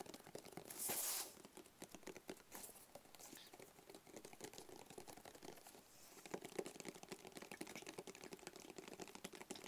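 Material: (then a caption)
Cardboard. Fingertips and nails tap rapidly on a medium, hollow, rigid black cardboard box with a barcode sticker. The dense, quiet stream of short, dry knocks carries a hollow resonance around 380 Hz. Near the start there is a brief bright, hissy scrape.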